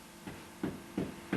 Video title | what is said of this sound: Ladywell Wholefood Bakery May 1989 | Like a drum.